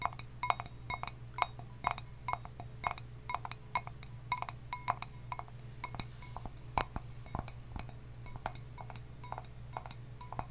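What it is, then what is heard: Copper mug. A hollow, hammered copper mug with a handle is held in the hands and tapped with long nails, giving a quick, irregular series of light, bright metallic clinks centered around 1 kHz. Each tap dies away almost instantly over a steady low hum.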